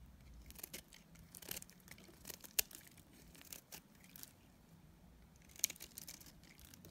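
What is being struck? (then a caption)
Dried soap bar scraped with a metal blade. A palm-sized solid bar of dried soap, teal outside with a cream core, is held in one hand and shaved with a metal utility-knife blade. Irregular, quiet, bright scraping and crunchy cutting strokes come in short bursts, with two sharper, louder snaps where the blade bites through. Each stroke ends dry and immediately, with no ring.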